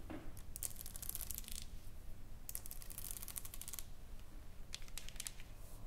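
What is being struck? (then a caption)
Painted wooden plaque. Fingertips and long nails tap and scratch the surface of a flat, solid painted wooden plaque. Quick bright clicky taps and scratches come in three flurries over a low, steady rumble. Each click is dry and dies away instantly.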